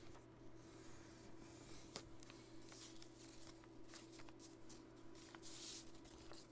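Fingertips and nails run along the folds of a small folded sheet of blue origami paper on a wooden table, rubbing and creasing it. Soft, papery scrapes and brisk crinkles come in irregular strokes, with a few sharper creases standing out. A faint, steady low hum runs underneath throughout.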